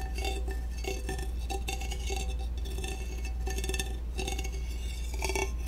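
A black, peach-flavored aluminum soda can is tapped repeatedly with a chopstick. The taps come as quick, light metallic clinks with a bright, tinny ring over a steady low hum.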